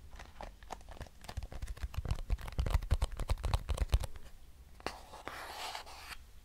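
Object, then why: Small cardboard box. Long nails scratch and tap a small, square, hollow lavender-grey cardboard box held close, making rapid, irregular dry clicks and hollow thuds that build to a dense flurry. After about four seconds the tapping thins out into a few scattered taps and a soft, bright scraping hiss.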